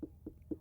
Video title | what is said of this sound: Cantaloupe and Watermelon | If it has a dull thud or a dull sound, solid sound, it's probably ripe.